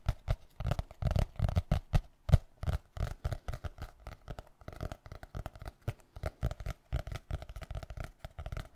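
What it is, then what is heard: Hardcover notebook. Fingertips and nails tap and scratch the solid board cover of a small black hardcover notebook. Rapid, irregular soft taps land as dull, low thuds with brief scratchy texture between them. Each hit stops dead with no ring.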